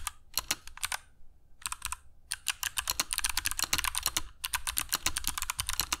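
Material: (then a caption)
Plastic. Fingertips of both hands type continuously on a compact black mechanical keyboard with dark PBT plastic keycaps and Kailh Box Jade switches, set on a cork desk mat. Each keystroke gives a sharp, bright, clicky snap with a soft low thump beneath it and almost no ring. The clicks come in rapid runs, broken by a few short pauses.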